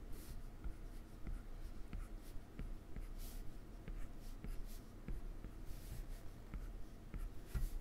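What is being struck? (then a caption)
Plastic stylus tip on a glass touchscreen. A plastic stylus tip taps and makes short strokes on the solid glass touchscreen of an iPad. Quiet, dry ticks with almost no ring are scattered among soft, brushy scratches, over a low, steady rumble.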